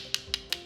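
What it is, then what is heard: Solid, good oyster. A good oyster in its shell is tapped three times for comparison with a gaping one, giving short, bright clicks centered near 3 kHz. It sounds solid, meaning the oyster is good.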